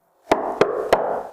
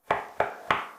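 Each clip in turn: First: hollow-sounding drywall panel. Second: drywall wall backed by adhesive, solid.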